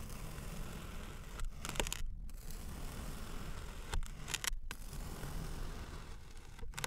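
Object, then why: Kinetic sand cut with a thin metal blade. A thin metal knife blade held in the hand slices repeatedly through a large, solid red block of kinetic sand molded into a lips shape on a light surface. The sound is a steady, soft, grainy scraping and crunching, heavy in low rumble, with brief bright swishes as the blade cuts through the packed sand and short near-silent pauses between strokes.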